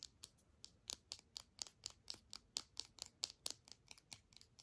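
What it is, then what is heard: Plastic earbud charging case. A small, hollow, white hard-plastic earbud charging case is held in both hands and tapped and scratched with long manicured fingernails. About twenty quick, dry, bright clicking taps come at an uneven pace, with faint scratching between them. The sound is quiet and has almost no low end.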